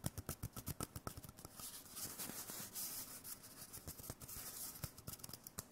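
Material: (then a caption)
Cardboard. A small hollow white cardboard tube is held in one hand and tapped and scratched with the fingertips of the other. Quick, dry, hollow taps give way to a stretch of bright, hissy scratching along the tube. Scattered taps mix in as the scratching continues, and a few sharper taps return near the end.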